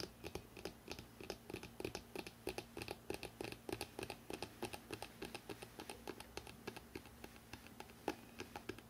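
Fingertips and nails tap fast on the spine of a hardcover book printed "NEW YORK", which is standing upright. Quick, slightly irregular dry taps with almost no ring, mixing duller thumps with bright nail clicks, continue steadily over a faint low hum.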